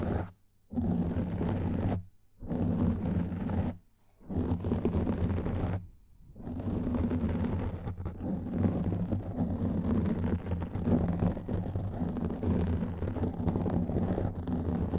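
Fingernails scratch both sides of a black foam microphone windscreen, making a dense, low, rumbling scrape. The scratching stops briefly three times in the first six seconds, then runs without a break to the end.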